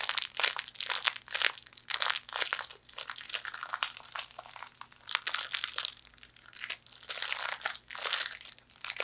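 Fortune cookie pieces inside a plastic wrapper are crumpled and squeezed by hand, giving bursts of bright, crackling crinkles and crunches. The bursts swell and fade in uneven waves over a faint, steady low hum.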